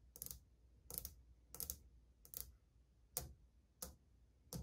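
Long painted fingernails of a spread hand tap on old glazed ceramic subway tiles on a wall, which are flat and solid. Short, dry, bright clicks come in loose, uneven bursts of several nails at a time, with no ring after each tap. A low, steady hum sits underneath.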